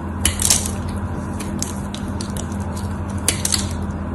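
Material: Soap.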